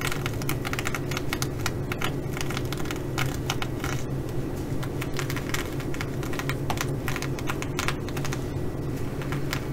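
Long nails scratch and tap the sequins on a blue reversible flip-sequin fabric bag, producing rapid, irregular bright clicks and crackling scrapes. The clicks sit over a steady low hum near 130 Hz, at an even level throughout.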